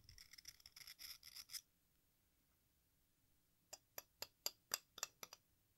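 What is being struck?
Chalk block scraped with a metal knife blade.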